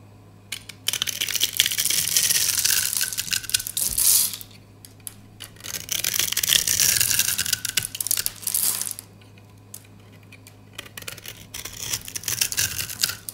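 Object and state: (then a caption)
Dry soap bar, crunchy when scraped. A utility knife scores and scrapes the surface of a solid, rectangular, dry white soap bar held in the hand, shaving off crunchy curls. Dense, crisp, bright scratching and crackling comes in several bursts separated by short quiet pauses, over a faint steady low hum.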